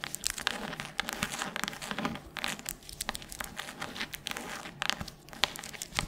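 Long nails scratch and tap the cover of a solid red hardcover book, possibly the page edges too. Dry, bright scratching and crinkly friction are broken up by many quick, sharp taps that stop almost instantly. The sound sits mostly in the high range with very little low end.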